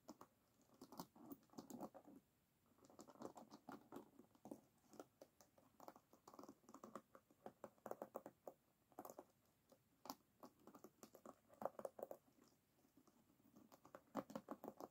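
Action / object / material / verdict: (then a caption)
flick / wooden hairbrush with wooden pins / wood / none. An oval wooden hairbrush rests on a table, held in one hand, while long nails flick and scratch across its wooden pins. The result is soft, dry, rapid clicking and scratching in uneven bursts, with no ring after each tap.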